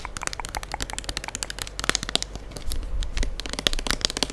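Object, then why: Plastic liquid soap pump bottle. Long acrylic nails tap and scratch the body of a full gold plastic liquid soap pump bottle held close to the mic. Dense, dry clicks and crackly scratches patter rapidly with no ring, over a low rumble that thickens in the second half.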